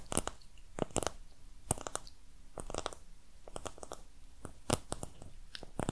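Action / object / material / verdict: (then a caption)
tap / small cardboard box / cardboard / none. Long red nails tap and scratch the surface of a small brown printed cardboard box with a torn, corrugated edge, hollow and apparently empty, held in both hands close to the microphone. Quiet, dry clicks and crisp, crunchy scratches come in irregular bursts, each tap dying away instantly over a low, hollow body.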